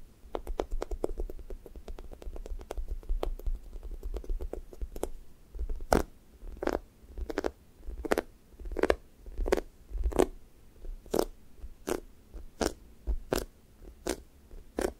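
Fingertips poke and peel off the orange side of a sticky foam squishy toast toy, a soft, solid foam with a sticky skin, leaving dimples. Quick, crackly tacky snaps patter rapidly for the first few seconds, then settle into single sharp peels spaced about every half to three-quarters of a second. A low, steady rumble sits underneath throughout.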